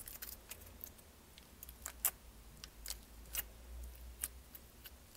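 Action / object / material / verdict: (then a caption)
tap / small plastic tub filled with slime / plastic / none. Long painted nails tap and scratch the lid and sides of a small clear plastic tub with a lid, filled with purple slime and held in the hand. The result is a quiet series of short, sharp, bright clicks and light scratches over a faint low rumble.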